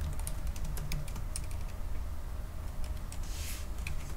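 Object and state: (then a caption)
Laptop keyboard being typed on. Both hands tap with their fingertips on the black plastic keys of a silver aluminium laptop keyboard, making a fast, steady run of short, crisp clicks. The key taps sit over a dense, low rumbling hum that carries most of the sound's energy.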